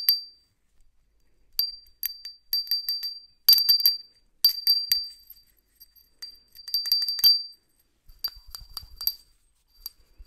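A small, hollow white ceramic hand bell, held in a black-gloved hand, is shaken in irregular bursts so it rings. It gives bright, high, glassy tings that die away quickly, in clusters separated by short silences.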